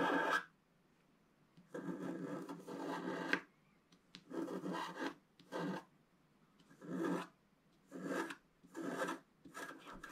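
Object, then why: Black-coated scratch art paper scratched with a wooden stylus. A wooden stylus scratches the upper waves into a flat, solid, black-coated scratch art page about A4 in size. The result is a series of short, dry, raspy scraping strokes separated by near-silent pauses, with broadband texture rising into bright highs.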